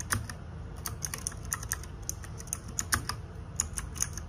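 Fingertips and nails type rapidly on the plastic keycaps of a small RGB-backlit 60% mechanical keyboard. About nineteen sharp, bright clacks are heard in quick, uneven succession, each dying away almost instantly over a soft low background rumble.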